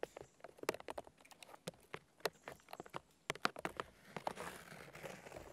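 Fingertips with short red-painted nails tap and drum quickly on the papery white bark of a large, solid fallen birch trunk outdoors. The result is a rapid, uneven patter of dry, crisp clicks with almost no low end and no ring, followed by a soft, bright scratchy rustle in the final second or so.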